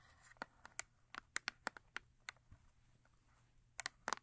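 Long acrylic nails tap and scratch the top face of a small printed paperboard Yardley rose & rhubarb soap bar box, likely still holding the soap, as it rests on white fur. Quiet, crisp, dry clicks come in irregular bursts, with faint soft scratching between them, a pause in the middle, and a quick flurry at the end.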